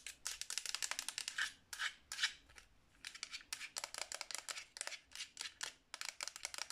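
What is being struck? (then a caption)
Hard plastic game controller. A black Xbox 360 controller of hollow hard plastic, held in the hands, is tapped and scratched with long nails across its front and grips. Quick, bright plastic clicks and scratchy rasps come in dense bursts with brief pauses, each tap dying out almost instantly with no low-end thump.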